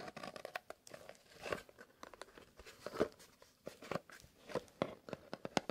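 A small, closed and hollow kraft cardboard "Fox" box is held in both gloved hands and tapped and scratched with fingernails. Quick, dry taps with a hollow body mix with scratchy, crinkly rasps in an uneven stream of short hits, some louder than others, each stopping almost at once.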